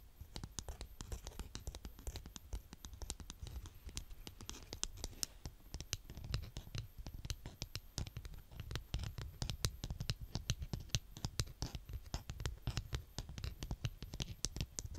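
A green plastic toy scraper, held in a hand with long dark-painted nails, is pressed and cut into a mound of brown kinetic sand on a polka-dot tray. It makes a steady run of quick, crunchy scratches and soft crackles, each with a low thud and a bright, crisp edge.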